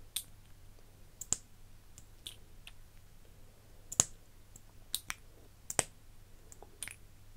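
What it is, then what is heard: Plastic lip gloss tube. A slim iridescent plastic lip gloss tube with a metal-look cap, partly full, is handled by fingers with long nails: the cap is twisted and clicked open and the wand pulled out. About ten short, dry, bright clicks and taps sound at an irregular pace, with almost no ring, over a quiet low hum.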